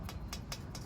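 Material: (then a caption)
Steel. Short taps on a nut on an RV hubcap sound solid, marking it as one of the two real nuts, set on opposite sides, that are used to remove the hubcap. Each tap is a brief, bright click over a steady low rumble.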